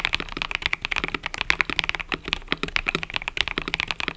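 Fingertips type continuously on a cream and purple mechanical keyboard with plastic keycaps. A rapid, steady run of about two dozen short, dry, bright clacks is heard, each centered around 2 kHz and dying out almost instantly, with very little low end.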